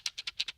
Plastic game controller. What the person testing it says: That's uniform shaking. That's not something falling through like a Plinko piece.